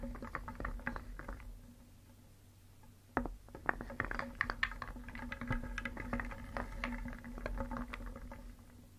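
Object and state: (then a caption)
Wooden pieces clacking in a wooden bowl. Small, solid painted wooden shapes in a round wooden bowl are stirred briskly with a wooden spoon, so the pieces clack together in quick, dry, bright knocks over a steady low hum. The clatter fades to a near pause around two to three seconds. It then resumes with sharper, louder clacks that continue to the end.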